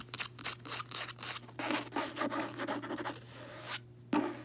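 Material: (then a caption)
Cloth, board. Long nails and fingertips scratch and tap the cover of a closed, solid, medium-size red cloth-covered hardcover book with a gold emblem, lying on a bedsheet. Quick, bright, dry scratching bursts come first, then a longer run of continuous rubbing and scraping, a brief quiet gap, and a final sharp tap and scratch. A faint steady low hum runs underneath.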